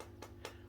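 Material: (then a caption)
Plastic. Two taps on the plastic casing of a small aquarium air pump give short, dull knocks with a solid, firm sound and little ringing. The pump's steady low hum continues underneath.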